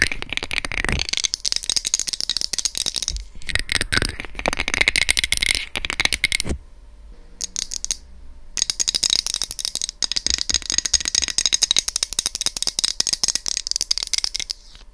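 Long red nails rapidly tap and scratch the top and front of the hollow, white, rectangular plastic housing of an SR3D binaural microphone. The result is a dense, bright, dry clatter of clicks and scrapes with almost no ring. A near-silent pause in the middle holds only a few faint taps before the busy tapping resumes.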